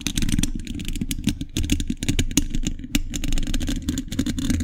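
A hollow steel mesh microphone grille is tapped and scratched with metal thimbles on all fingers. The result is a dense, rapid run of metallic clicks and scrapes over a heavy, boomy low end, with a ringing tone near 285 Hz and bright, sharp transients that die away almost instantly.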